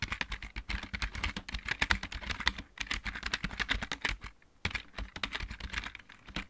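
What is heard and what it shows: Fingertips of both hands type fast on a full-size backlit mechanical keyboard with plastic keycaps. A rapid stream of short, bright, clacky key taps with light low thumps beneath them briefly quiets around four and a half seconds, then resumes. Each keystroke dies away almost instantly.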